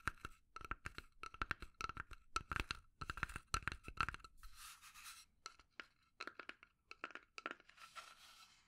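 Long nails tap and scratch the sides and lid of a small, hollow, rectangular burnt-finish pine box held up in both hands. Bursts of quick, dry taps carry a hollow resonance near 1.3 kHz, broken up by a few softer, hissing scratch passages across the wood.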